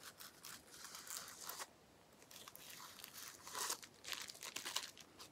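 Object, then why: Plastic bubble wrap sheet. A small clear plastic bubble wrap sheet with air-filled bubbles is held in one hand and tapped with the fingertips. Quiet, dry, bright crinkling and rustling comes in bursts, with sharper crackles near the end and almost no low end.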